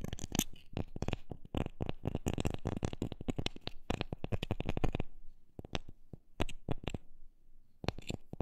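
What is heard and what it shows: A wooden object is tapped with quick, dry, short taps that carry a low thump. The taps come in a fast, dense run for about five seconds, then slow to sparser, spaced taps.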